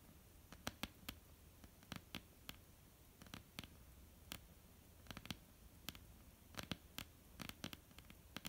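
Long almond-shaped painted nails tap and scratch a flat, solid wooden tabletop. Many quiet, sharp, bright clicks land in irregular bursts, each dying away at once, over a soft, steady hiss.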